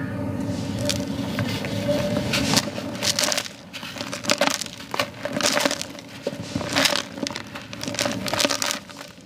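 Bare hands squeeze and crumble palm-sized, solid, dry-ish molded clumps of yellow gritty sand over a blue tub, fingertips and palms breaking them apart. Repeated bursts of crunchy, bright crackling swell and fade, with a hissing rush as the grains pour down onto the sand pile below. A faint steady low tone runs underneath throughout.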